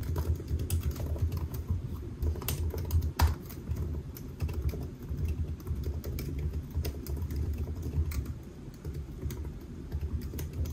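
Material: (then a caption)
Plastic. Fingertips of both hands type on a silver aluminium laptop with black plastic keys, resting solid on a white desk. A steady stream of quick, soft key taps with short bright clicks sits over a constant low rumble that carries most of the sound, and each tap dies away almost at once.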